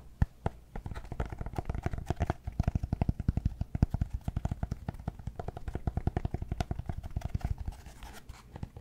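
Fingernails scratch the top and edges of a solid cork yoga block held behind the microphone. A quick, steady run of short, dry scratching strokes follows, mostly low and muffled with faint brighter scrape edges, each stroke stopping almost immediately.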